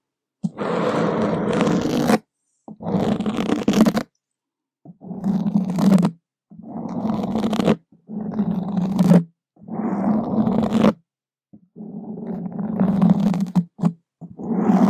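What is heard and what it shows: Wooden skewer tips scratch and drag across a black foam microphone windscreen. Rough, muffled scraping comes in repeated strokes of one to two seconds, separated by short silences, with a deep rumbling, growl-like tone. The sound is heavy in the lows with almost no bright edge.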